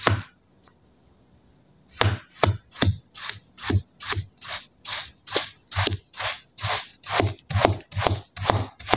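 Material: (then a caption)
Kinetic sand. A steel kitchen knife chops crosswise through a row of solid green kinetic sand slabs, crumbling them into pieces. After one opening cut and a short pause, a steady run of crisp cuts follows, each a soft, grainy crunch with a dull low thump underneath and a bright sandy hiss on top.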